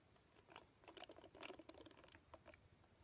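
Long painted nails scratch and strum across the black cushion of many bristles on a hand-sized red plastic paddle hairbrush held in one hand. The result is a quiet, dry string of crisp, bright ticking and crackling scrapes with almost no ring.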